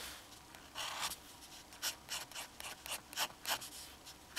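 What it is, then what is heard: Fountain pen nib scratching on drawing paper. A black fountain pen held in the fingers scratches hatching strokes onto the central figure of a sheet of flat drawing paper with its metal nib, which stays on the paper throughout. About thirteen short, bright, dry scratching bursts come in an uneven rhythm, with a quiet hiss between them.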